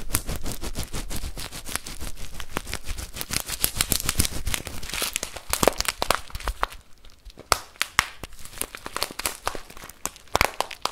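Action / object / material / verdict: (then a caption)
shake / plastic bag of rice / rice / none. A full, clear plastic bag of rice is squeezed from above and shaken by hand, giving dense crinkling and crackling with rustling grains and many sharp, bright ticks. The sound is steady and busy for about the first seven seconds, then thins out into quieter, more scattered crackles.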